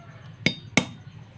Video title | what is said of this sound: fake mutya paano malaman dagdag kaalaman spritual | Nag-crack na agad. Ayan. Ito yung peke.